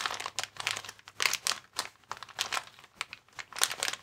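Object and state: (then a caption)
Plastic air-column cushion bag being crinkled. A hand-sized clear plastic air column cushion bag, a type of inflatable packaging, is held in both hands while the fingers squeeze and crinkle its plastic film. The result is a steady run of bright, crackly crinkles in short overlapping bursts, with almost no low end.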